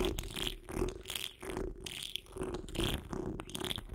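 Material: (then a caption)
Metal mesh. Long acrylic nails of both hands scratch a hollow metal wire-mesh microphone grille. Irregular raspy scratching strokes come in quick, uneven bursts, with a boomy low rumble, a steady tone near 360 Hz and bright, hissy edges.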